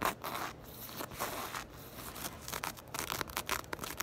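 Long acrylic nails scratch and rake across the knit texture of a soft, hollow black crochet or knit fabric purse. The result is a dense, dry, scratchy rustle, bright and crackly with almost no low end, pulsing in quick bursts that grow choppier toward the end.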